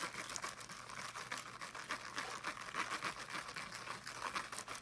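Fingernails quickly scratch the woven surface of a small teal fabric-mesh-covered speaker held in both hands. The result is a soft, continuous, bright crinkling rasp made of rapid short strokes with almost no low end.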